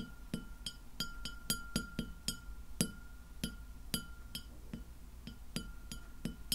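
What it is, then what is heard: Glass plate tapped with fingernails. A large, round, solid white glass plate, empty and lying flat, is tapped by the long nails of both hands. The result is a quick series of sharp, bright clicks, each with a short glassy ring and a steady high tone sustained underneath. The taps come at an uneven, rhythmic pace, with about eighteen strikes spread across the clip.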